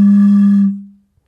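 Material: Nothing is struck.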